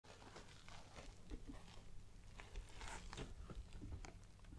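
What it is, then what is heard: Nylon fabric backpack. Long black-painted nails tap and scratch the front panel near the logo patch of a hollow, soft, dark green Fjallraven Kanken backpack made of synthetic nylon canvas. Soft, dull taps with almost no ring mix with a continuous scratchy, crinkling rustle of the fabric. The sound is heavy in the low end and recorded very close.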